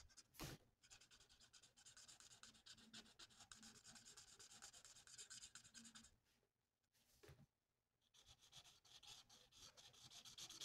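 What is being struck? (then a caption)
Paper sheet rubbed with a felt-tip marker. The felt nib of a plastic alcohol marker colours a thin, flat sheet of printed paper on a table with rapid back-and-forth strokes. The result is a soft, bright, scratchy rubbing with a sharp tick near the start. The rubbing thins to near silence for about a second and a half before resuming steadily.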